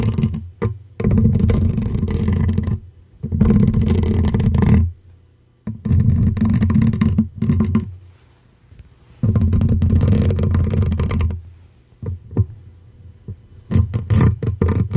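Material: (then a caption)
Metal mesh. A small stiff-bristle brush held in the fingers scratches and brushes the hollow metal wire-mesh grille of a silver condenser microphone. Loud, dense bursts of close scratching with a heavy low rumble alternate with near-silent pauses. The clip ends in a run of quicker, shorter strokes.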